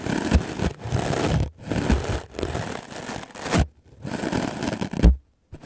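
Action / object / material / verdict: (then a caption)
scrape / melamine foam sponge brushed with a bristle brush / melamine foam / none. A white, solid, rectangular melamine foam sponge is held in the hand and brushed fast and hard with a wooden-backed clothes brush with black bristles. Rough, scratchy, crunching strokes come in dense bursts with brief quiet gaps between them, mostly low in tone with a bright hissy edge.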